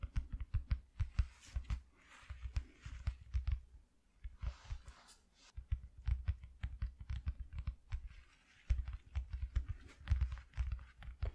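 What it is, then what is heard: Cardboard piece being tapped. A piece cut from an empty cardboard shoe box is tapped with fingers, giving a quick run of soft, dull, low thuds that stop almost at once. Faint rustly, scratchy noise sits between some of the taps, and the whole clip is quiet and close.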